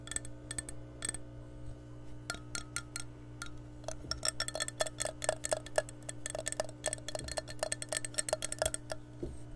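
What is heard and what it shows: Long nails tap and scratch the outer wall of an empty, hollow, clear glass measuring cup held close to the mic. Dozens of quick, bright clicks, some with a short ringing glassy tone, come in irregular bursts over a steady low hum, with faint scratchy rustles between them.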